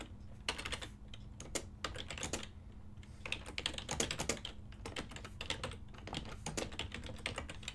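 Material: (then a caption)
Plastic. A full-size ergonomic silver and black plastic desktop keyboard with hollow key switches is typed on continuously by fingertips with short nails. The result is a steady stream of quick, bright plastic clicks and clacks with short pauses between bursts, over a faint low hum.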